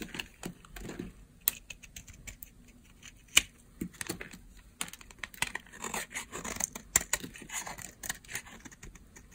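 A utility knife blade shaves a dry, solid, palm-size rectangular bar of pale yellow soap. Bright, crisp scraping and crackling strokes come in quick bursts, with a few sharper clicks that cut off almost instantly.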